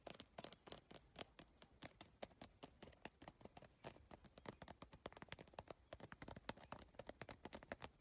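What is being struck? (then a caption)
Plastic tiled bag surface. Long nails tap fast across the iridescent triangular plastic tiles of a holographic geometric PVC tile bag. The result is a rapid, steady stream of short, dry clicks with bright edges and almost no ring.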